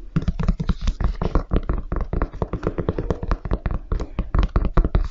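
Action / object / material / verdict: tap / leather and rubber high-top sneaker / leather, rubber / none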